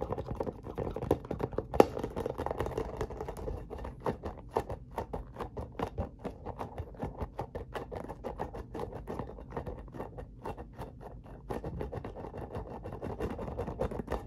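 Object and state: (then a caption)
Spiky rubber massage ball. A hollow, translucent spiky rubber massage ball about the size of a hand, with a barcode label, is tapped and scratched rapidly with fingertips and nails. Dozens of quick, soft, dry taps and scratchy patters come in a steady, uneven stream. Each stops instantly, with a muffled, low-mid tone and little brightness.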